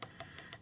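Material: UV resin.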